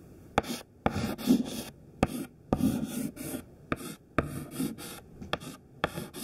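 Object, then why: Chalk stick on a chalkboard. A thin white classroom chalk stick, held in the fingertips, draws rows of squares on a flat black chalkboard. About a dozen sharp ticks mark each stroke's start, each followed by a short, dry scratching rasp, with brief quiet gaps between them in an uneven rhythm.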